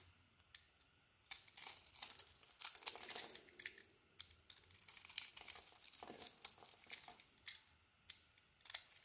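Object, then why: Soap bar shaved with a metal blade. A solid blue dotted soap bar, green inside and held in the palm, is shaved and carved with a metal utility blade. Dry, bright scraping and cutting scratches come in bursts, with quick crumbly crinkles and small flicks between strokes. There is no low end and almost no ring.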